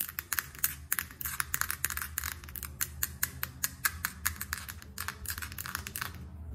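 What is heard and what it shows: Long acrylic nails tap fast on a small closed square Dior blush compact, which is hard and hollow with a clear plastic lid and a silver rim. The result is a rapid, uneven run of short, bright plastic clicks that die away almost instantly over a steady low hum.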